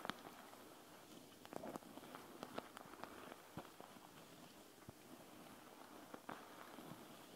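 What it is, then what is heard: Gel bead eye mask. Long acrylic nails scratch and tap across a flat, soft, panda-shaped eye mask with a clear plastic front filled with small gel beads, lying on a wooden table. Quiet, steady crackly scratching runs throughout, broken by sharp, bright taps that die away almost instantly.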